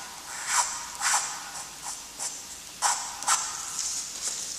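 A graphite stick held in a gloved hand draws the light and then darker strokes of a letter on a flat, lined, gray-toned drawing paper sheet. Each stroke is a short, dry, scratchy hiss, bright with almost no low end, and the strokes come in an uneven series over a faint background hush.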